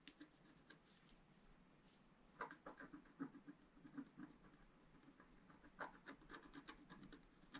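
A pointed wooden stylus scratches a thin, flat, solid black wax-coated scratch-art paper sheet lying on a table and held down by one hand. The result is quiet, dry scratching in short strokes, with louder, sharper rasps in clusters around the middle and near the end over a faint steady hiss.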